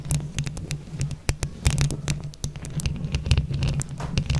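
Long acrylic nails on both hands scratch and tap all over a hollow mesh microphone head covered in glued plastic flower buttons. Rapid, irregular taps and scrapes each make a deep, boomy thump with a sharp, bright click on top. Each one stops almost at once over a constant low rumble.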